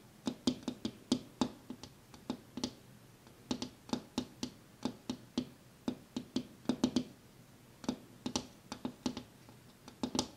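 A hand taps on a glass window pane, making a run of about 34 short, dry knocks with a low body near 250 Hz and a bright click on top. The taps come in uneven bursts with brief pauses between them, and each one dies away almost at once.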